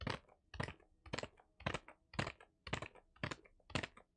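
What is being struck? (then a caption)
Kraft paper wrapped package. Fingertips tap and scratch across the surface of a brown kraft-paper-wrapped album package held upright in one hand. Eight quick, crisp bursts of papery crackle and scratching come at a steady pace, each with a soft low thump and a brief rustling tail that fades almost at once.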